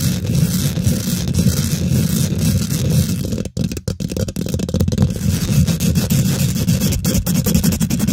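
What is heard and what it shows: Long nails and fingertips of both hands quickly scratch and tap the domed, hollow woven metal mesh grille of a large silver condenser microphone. The result is a dense, heavy, low rumbling scrape with rapid rustling taps, which briefly drops out around the middle before resuming at full intensity.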